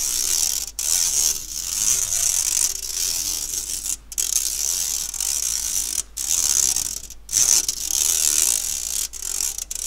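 Fingernails scratch the wire mesh of an empty, round, fine-mesh stainless steel sieve held by its handle. The result is a steady, bright, raspy scratching with almost no low end, broken by a few brief pauses between strokes.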